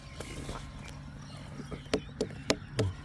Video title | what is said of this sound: ป๊าดๆๆแตงโมตัดมีดแรกลูกละ5-6โลลูกใหญ่ๆเนื้อฉ่ำหวานแตงโมบ่าวเป๋วสวนครัวบ้านผม | เคาะตึงเปี๊ยะเลย